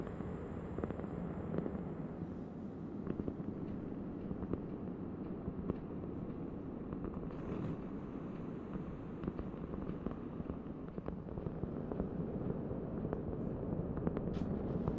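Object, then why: Round cork board. Long nails tap and scratch across a large, thin, solid round cork board. The result is a dense, continuous patter of soft, dull taps mixed with scratchy rustling, weighted toward low, muffled tones, with quick, irregular strikes and no ringing after each hit.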